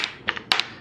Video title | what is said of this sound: FM Gammon Mini Blackhawk Review | that great sound of the checkers hitting the bar